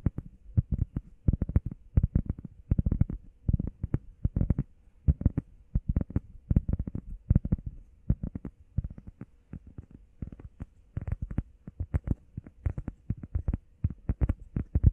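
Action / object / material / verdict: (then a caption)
tap / EVA foam pad / EVA foam / none. Long painted nails and fingertips tap and scratch fast on a flat, solid, hand-sized grey textured EVA foam workout pad shaped like a heart. The result is rapid clusters of dull, muffled low thuds with no ring, mixed with soft scratching between bursts.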